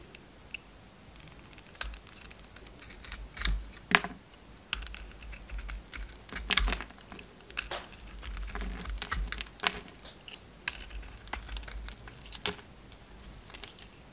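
A hand-sized solid oval bar of soap with a red and gold patterned coating and a pink inside, held in hand, is shaved and cut with a utility knife blade. Short, dry scraping and cutting strokes follow one another closely, producing bright, crisp crackling with a faint low hum beneath.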